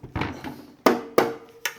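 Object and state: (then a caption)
Metal haze machine housing. Six taps by hand on the all-metal housing of a Chauvet DJ Hurricane Haze 4D haze machine, just unboxed. Each tap is a sharp knock, and the louder later taps leave a brief, steady metallic ring in the mid range. The casing sounds like solid metal, as expected.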